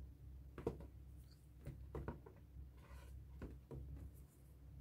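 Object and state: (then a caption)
Latex balloon scribbled on with a marker. A felt-tip marker writes and scribbles on the stretched rubber of a light blue, hollow, inflated latex balloon held in hand. Soft, dry scratching and squeaky rubbing strokes come in short, irregular bursts over a quiet, low background hum, with each stroke dying away almost at once.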